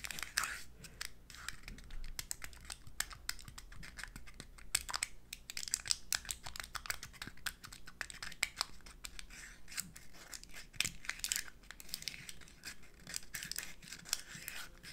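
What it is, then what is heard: Confetti egg (hollow eggshell). A purple-dyed confetti egg, a hollow real eggshell about the size of a hen's egg and filled with confetti, is held in both hands above an egg carton while long acrylic nails tap and scratch its shell. Quick, dry, bright clicks and scratchy rasps follow each other closely with no ring, over a faint low hum. Short louder taps stand out now and then.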